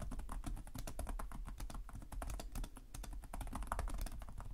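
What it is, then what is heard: Plastic laptop keyboard. Both hands type quickly with their fingertips on the plastic chiclet keys of a black laptop with a hollow chassis. They produce a steady stream of soft, overlapping clicks and taps over a dull, hollow low thump.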